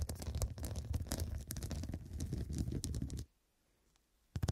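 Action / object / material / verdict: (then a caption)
scrape / fabric cushion covered in glass studs / glass, fabric / none. Long dark nails and fingertips scratch and tap the square faceted glass studs covering a medium, soft, filled fabric cushion. A dense run of quick scratchy taps with a low, muffled rumbling body continues for about three seconds, then cuts to near silence before a brief burst of scratching returns at the end.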